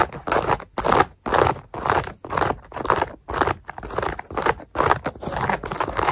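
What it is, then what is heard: Mesh fabric sneaker upper. Long acrylic nails scratch and tap the knit mesh upper and laces of a black hexagon-print running shoe worn on the foot, near the laces and tongue. Repeated dry, rasping scratch strokes come about two per second, separated by short silences, with a midrange fabric hiss and little low end.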